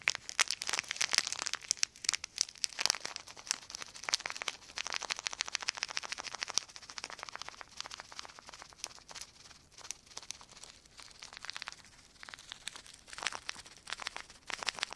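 Fingertips crumple and crinkle a small, thin, semi-thick piece of clear plastic sheet held in both hands above a wooden table. The result is a dense, steady stream of sharp, bright crackles with almost no low end. It is busiest near the start and again toward the end, with a softer stretch in between.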